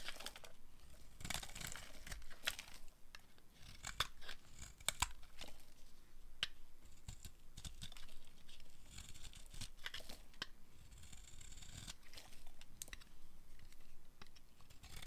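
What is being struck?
Bar of soap.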